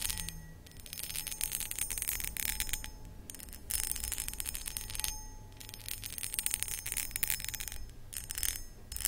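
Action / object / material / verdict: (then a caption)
scrape / cut crystal glass pedestal bowl / crystal glass / none. Long acrylic nails rapidly scratch and tap the textured sides of a hollow, empty, medium cut crystal glass footed pedestal bowl. The result is dense, bright, crackly scratching with quick glassy clicks, coming in bursts separated by brief quieter pauses.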